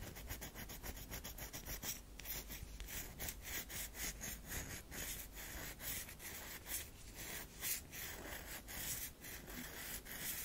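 Long fingernails scratch and rub a solid round bar of soap with a scratched, fibrous-looking surface, held in the other hand. Quiet, dry, brushy scraping strokes repeat steadily, each a bright, hissy rasp with a faint low rumble underneath.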